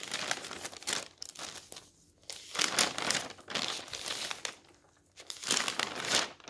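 Fingertips lift and turn the thin pages of a large open newsprint newspaper lying on a wooden table. Bright, papery crinkling and rustling come in bursts, with brief quiet gaps between the page turns.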